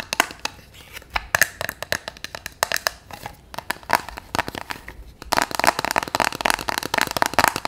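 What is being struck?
Paper sticky note cube.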